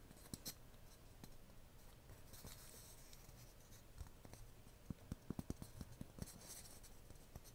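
Long painted fingernails tap and scratch a small unpainted white bisque ceramic cupcake-shaped box, likely hollow, held in both hands. Soft dry scratching with bright hiss runs throughout, broken by short, sharp clicking taps that bunch together near the end. The taps stop instantly with no ring.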